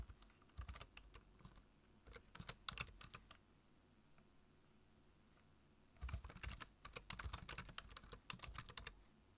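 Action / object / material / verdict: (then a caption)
tap / plastic computer keyboard / plastic / none. Fingertips tap the keys of a black plastic low-profile computer keyboard while typing, making quick, dry, bright clicks with a soft low thump under them. Two bursts of typing are separated by a quiet pause of about three seconds in the middle.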